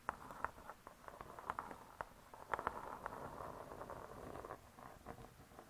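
Long nails tap and scratch the cardboard-covered cover of a spiral-bound hardcover cookbook. A quiet, irregular run of soft, dry, papery taps centred in the midrange is joined by a faint scratching hiss, and each tap dies away almost instantly.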